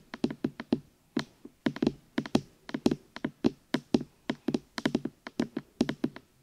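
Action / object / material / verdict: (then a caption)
tap / silicone rubber microphone ears / silicone / none. Fingertips tap and knock on the silicone rubber ears of a black binaural microphone. About thirty short, dull, dry thumps centred around 250 Hz come in quick, irregular clusters, each one dying away almost instantly with no ring.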